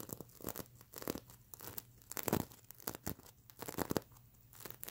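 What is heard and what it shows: Long nails on both hands scratch across the plastic sequins of a stuffed mermaid unicorn plush pillow, making dry, crinkly, rasping bursts. The scratches come in quick irregular clusters with bright edges and some low thumps, separated by short quiet gaps.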